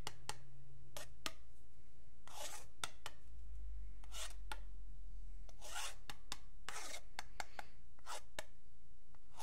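A long, flat, solid wooden yardstick is scratched along its marked edge, first with a thin metal pick and then with a metal pen tip. Sharp, bright ticks alternate with longer raspy scraping strokes over a steady low hum.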